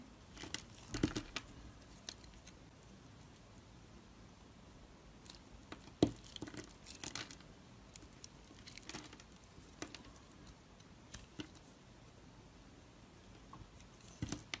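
A solid oval black soap bar is held in the hand and shaved with a thin blade, with chips falling off. The result is quiet, scattered bursts of dry scraping and crumbly crackling, with a sharper cut near the six-second mark and a few louder clusters toward the end.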